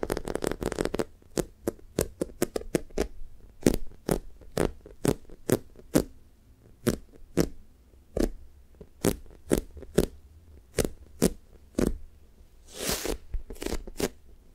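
Long acrylic nails and fingertips press, squish and scratch a large light-blue speckled toast-shaped squishy toy made of soft, solid polyurethane foam with a sticky coating. A rapid cluster of soft tapping and sticky peeling sounds opens the clip, followed by a steady series of short, crisp clicks and taps with brief scratchy rustles. Near the end comes a longer, brighter scrape.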